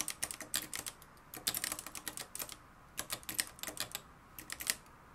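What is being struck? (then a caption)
Plastic and metal manual typewriter. Fingertips type continuously on the dark plastic keys of a mustard-yellow, plastic-cased manual typewriter with a metal mechanism. The result is rapid bursts of sharp, bright clicks that die away almost instantly, with little low end and brief pauses between flurries.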